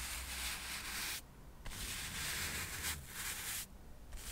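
A soft paintbrush, held in one hand, brushes across a small solid stack of square cork coasters held in the other. It makes a steady, bright, papery hiss with a faint low rumble underneath, broken by two brief pauses between long strokes.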